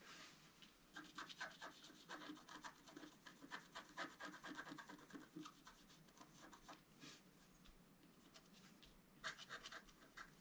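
A wooden stylus scratches the black coating in the centre of a flat scratch-art card, about A4 in size, lying on a table. Short, dry, bright scratching strokes come in an irregular rapid series, thinning to faint rubbing near the end before a final burst of strokes.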